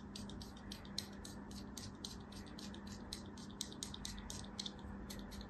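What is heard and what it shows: A thin metal craft-knife blade scrapes and cuts a small solid block of beige kinetic sand held in an open palm, with crumbs falling off. Quick, crisp, bright scratchy strokes repeat rapidly throughout over a low, steady hum.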